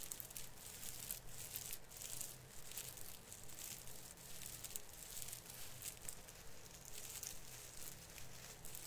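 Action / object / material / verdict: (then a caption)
scrape / plastic artificial fir branch / plastic / none. Both hands rub and brush the branches of an artificial fir Christmas tree with plastic needles, making a steady, bright crinkling rustle. The rustle swells and eases in loose waves over a faint low hum.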